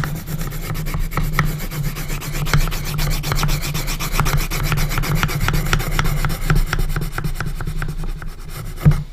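A graphite pencil scratches dense cross-hatching across the wooden lid of a small hinged coffin-shaped wooden box. The result is a continuous dry, rasping scratch made of rapid back-and-forth strokes over a steady low hum. One sharper, louder stroke comes near the end.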